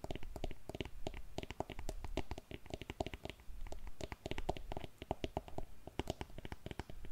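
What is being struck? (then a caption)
Patent leather pump. Long nails tap and scratch rapidly on the upper of an empty, hollow, glossy black patent leather pump. The sound is a dense run of short, dry clicks with a hollow, boomy low end and a mid-pitched knock, and soft scratchy bits between bursts.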